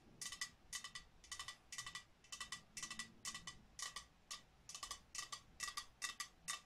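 Long nails tap quickly across the surface of a medium, glazed, hollow ceramic snowman cookie jar with a top-hat lid. Clusters of crisp, bright clicks come in irregular bursts, each tap carrying a brief glassy ring that dies away almost at once.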